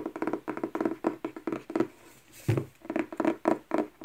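Long painted nails tap and scratch the glossy cardboard front and back covers of a thick paperback novel, a solid paper block held upright on a wooden table. Quick runs of dull, muted taps centred low-mid are broken by a brief brushing pause, then a soft thud and more tapping. Each tap dies almost at once with no ring.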